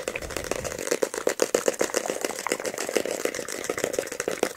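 A solid paperback book with a glossy card cover, held close, is tapped rapidly with fingertips and scratched with nails across the cover. The result is a dense run of short, dry taps centered around 535 Hz, with almost no ring, over a bright, crackly scratching texture and very little low end.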